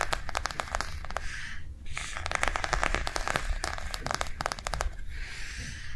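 A small white plastic cardholder book with a cactus print and a snap closure lies on a table and is tapped quickly with long nails. The result is a rapid run of sharp, bright clicks that die away almost instantly, with a brief pause partway through, over a low background hum.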